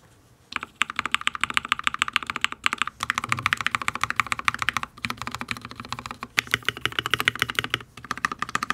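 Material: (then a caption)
Plastic, steel. Fingertips of both hands type fast on a full-size RGB HyperX Alloy Origins mechanical keyboard with Fire switches, solid ABS keycaps on a steel plate, resting on a desk with a wrist rest. Quick bursts of bright, crisp key clacks run at an uneven pace, broken by short pauses, with little low-end thump.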